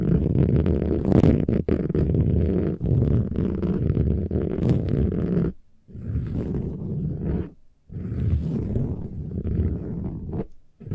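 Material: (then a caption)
Woven fabric. Long nails scratch the textured surface of a soft, silver, metallic woven fabric pillow. The result is a dense, low, rumbling scrape with little brightness, continuous for the first half and then broken into bursts by short silent pauses.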